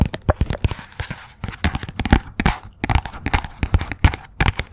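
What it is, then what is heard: Paperback book tapped with nails. Long nails tap and scratch quickly on the glossy cover and edges of a "Persepolis" paperback book. There are rapid, sharp clicking taps with a dull low thump behind them, separated by brief papery scratching rasps. Each tap dies away almost instantly.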